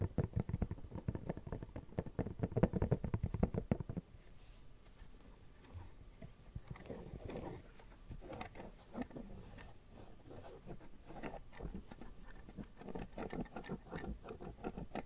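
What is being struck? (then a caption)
Silicone phone case. Fingernails tap and scratch the soft inner lining and edges of an empty red silicone phone case held up in the air. The first four seconds are a rapid, louder burst of dull, muffled tapping. It then drops to quieter, softer scratching with scattered light taps until the end.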